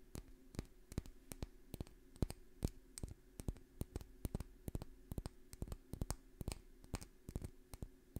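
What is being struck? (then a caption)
Small glass dropper bottle. A small dark amber or green glass essential oil dropper bottle with a paper label is held in one hand and tapped with long fingernails. The result is a steady, irregular run of quick, sharp clicking taps that die away almost instantly, over a faint low hum.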